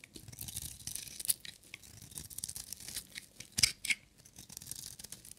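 A metal utility knife blade shaves a solid, hand-sized, blue and white striped bar of dry soap, peeling off crumbly shavings. Quiet, bright, dry scraping strokes repeat in an uneven rhythm, with a few sharper, louder crackles standing out.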